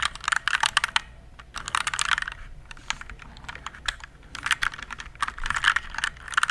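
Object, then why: Plastic mechanical keyboard. Fingertips type on a compact RGB plastic mechanical keyboard, which is tilted at the end. Quick flurries of sharp, bright plastic clacks come in bursts separated by short pauses, each keystroke dying away almost instantly with little low end.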